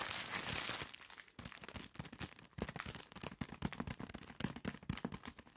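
A soft package sealed in thin plastic film is held in both hands and squeezed and rubbed with nails and fingertips. It opens with a steady bright hiss of film friction, then breaks into a rapid run of close, crisp crinkles and small crunches that keep going to the end.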